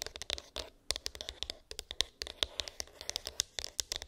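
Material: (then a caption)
Cardboard. Long pink acrylic nails tap and scratch a small, hollow white cardboard iPhone box with an embossed, textured lid; its contents are unknown. About 27 quick, sharp, bright clicks land over a dry, papery scratching texture, with a tonal edge near 3.6 kHz. Each tap stops almost instantly, leaving no ring.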